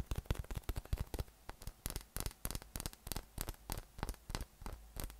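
A yellow, hollow, inflated soft PVC massage ball with nubs, about 20 cm across, is held in one hand and tapped with the fingertips of the other. About two dozen quick, dull, low thumps follow in an uneven rhythm, each with a faint bright crackly edge and dying away almost at once.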